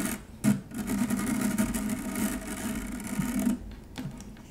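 Long nails scratch across a stainless steel wire-mesh strainer, making a raspy, bright scraping with a steady low buzzing tone. The scratching is sustained for about three seconds, then fades to a quieter rustle.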